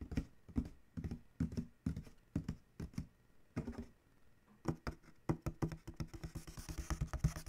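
Several fingertips tap and scratch across the printed panel on the side of a large, hollow corrugated cardboard shipping box. Soft, low, hollow thumps die away quickly, starting as spaced taps and then speeding into a rapid drumming flurry with a faint brushing scratch on top.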